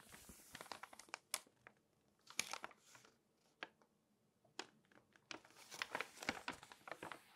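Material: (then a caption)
Glossy paper. Long nails turn, rub and scratch the thin glossy pages of an open glossy paper magazine. Bright, crisp crinkles and sharp papery ticks come in bursts, separated by brief quiet gaps. There is almost no low end.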